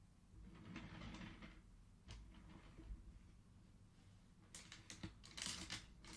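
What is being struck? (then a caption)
Wooden abacus with wooden beads on metal rods. Fingertips rapidly push colored wooden beads along the metal rods of a wooden abacus, producing dense, bright wooden clacking in quick bursts. A sharp single click sounds partway through before a final flurry of clattering beads, all over a steady low hum.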